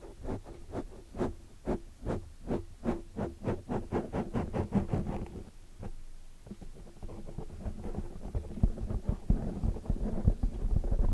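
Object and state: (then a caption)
Foam microphone windscreen. Long painted nails on both hands tap and scratch the surface of a soft, porous black foam microphone windscreen. For the first five seconds, 13 steady, muffled thumps fall in a regular rhythm, deep and boomy with almost no brightness. Then the sound turns to denser, rustling scratching and scattered louder bumps that build toward the end.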